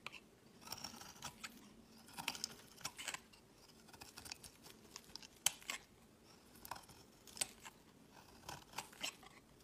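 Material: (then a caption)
Soap. A utility knife blade shaves long curls off a solid, palm-sized white bar of soap held in the hand. Quiet, bright scraping and crisp crackling come in many short bursts, each stroke fading almost at once, with little low-end weight.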